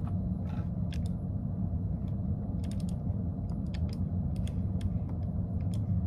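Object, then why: Plastic computer keyboard. Fingertips with short nails type on a light-colored plastic computer keyboard, finishing with one hand. Quick, bright key taps sound irregularly over a steady, heavy low rumble.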